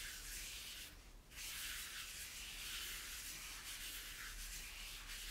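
A microfiber cloth is rubbed firmly over the white plastic base and teal spiral parts of a hollow plastic toy tower. It makes a steady, bright, hissing rub centered near 3 kHz, with a brief lull just after one second before the wiping resumes at full strength.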